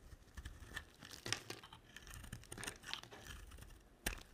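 A black utility-knife blade scrapes and cuts shavings off the face and edges of a solid, speckled, dry white soap bar that is palm-sized and held in hand. The audio is quiet, with dry, crunchy scraping and crinkly tearing in uneven bursts, each stroke cracking brightly and stopping almost at once. A sharper, louder snap comes near the end.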